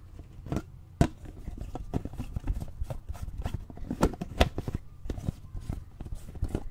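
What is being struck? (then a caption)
Plastic drinking bottle partly filled with water. A clear plastic drinking bottle with an inner straw and a grey lid with a yellow handle, partly filled with water, is handled with the fingertips, tapping and gripping its sides. The result is a stream of soft, irregular, low-heavy taps and dull plastic knocks, with a few sharper clicks standing out over a quiet, close background.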